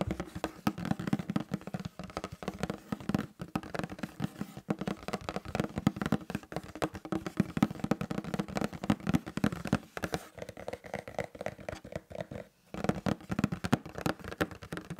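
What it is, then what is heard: Cardboard box. A sealed, medium-sized, hollow printed cardboard LEGO Star Wars set box lies flat on a black mat and is tapped on its top face with fingertips and nails. The result is a rapid, continuous stream of dry, hollow taps with a low, boxy thump and almost no ring. A dog's breathing may be faintly audible in the background.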